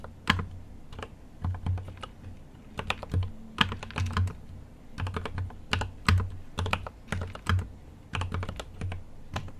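Both hands type with fingertips on a GMMK Pro 75% mechanical keyboard with an aluminum case, plastic keycaps and linear switches. The keystrokes come in quick, uneven bursts, each a short, deep thock with a bright clack on top that dies away almost instantly.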